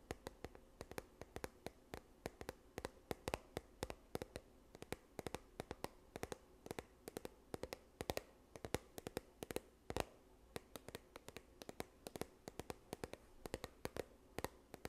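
Long nails tap and scratch a yellow plastic sunscreen tube held upright, making quiet, rapid, sharp clicks with very short ring. The irregular taps run the whole clip over a faint steady hum around 480 Hz and soft scratching between strikes.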